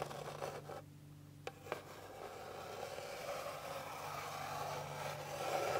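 Long pink-painted fingernails scratch across a flat, solid, light-colored wooden board with visible grain. A dry, rasping scrape fades into a brief near-quiet pause broken by a couple of sharp clicks, then the scratching returns and grows steadily louder and brighter to the end.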